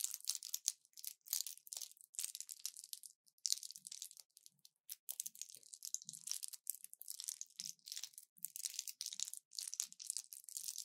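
An orange plastic blister pack with foil backing and pills inside is held in both hands and bent, crushed and crinkled with fingers and long nails. Quiet, bright, dense crackling and crinkling comes in bursts with short pauses, and faint low thumps sit under some of the crunches.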